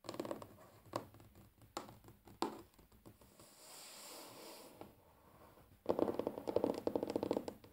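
Fingernails tap rapidly on a large, solid, flat wooden tabletop, some taps close to the microphone. Dry, short clicks and light scratchy scrapes come in uneven bursts, with a soft hiss in the middle before a dense, louder flurry of tapping at the end.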